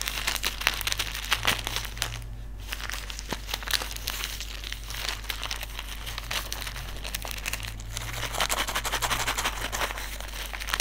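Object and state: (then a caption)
Silica gel desiccant packet. Fingers crumple, crinkle and rub a small white desiccant sachet filled with silica gel beads. The result is a continuous, bright, papery crackle of dense quick rustles. A steady low hum sits underneath throughout.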